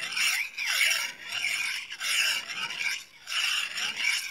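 A small solid steel knife with a thin blade is honed with scraping strokes along a steel rod. Five bright, rasping metal-on-metal strokes sweep across the high range, each followed by a brief gap.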